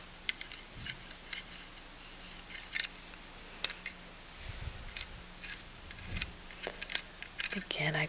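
A small plastic miniature curio shelf with little drawers, picked up at a thrift store, is tapped repeatedly with light, crisp clicks. The taps are bright and high-pitched with almost no ring. They come in irregular bursts against a quiet background, with a soft low rumble near the end.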